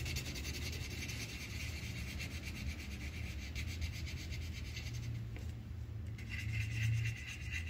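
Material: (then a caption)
Paper. The tip of a yellow wooden colored pencil rubs back and forth across a thin white paper sheet on a clipboard, coloring in an upper petal of a flower. It makes a steady, scratchy rasping with a bright hiss over a low, dull rumble. The strokes ease briefly near the end, then pick up again.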